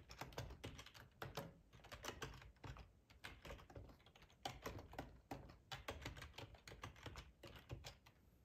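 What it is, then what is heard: Plastic computer keyboard being typed on. Fingertips of both hands type steadily on a black plastic split ergonomic keyboard with a hollow body and keycaps, resting on a tablecloth. Dense, quick clicky key taps carry a low thump beneath bright, short clacks, with no speech.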